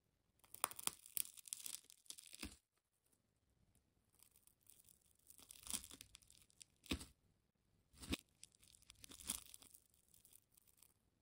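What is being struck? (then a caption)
Wound plastic tape ball cut with a metal blade. A thin metal blade or pick scratches and slices along the layers of a hand-sized, solid ball of wound colored plastic tape, already cut into layered slices and held in one hand. Quiet bursts of bright, crinkly tearing and scraping come in irregular runs, broken by a few sharp snapping cuts and short pauses.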